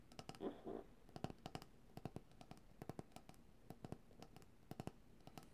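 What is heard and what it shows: A medium white opaque cylindrical coconut oil jar, apparently plastic and hollow, with its fill not visible, is held upright in both hands and tapped and drummed with long dark-painted nails and fingertips. Quiet, dry, clicky taps come in an irregular stream with a low hollow body, and a brief scratchy rub sounds near the start. Each tap dies away almost instantly.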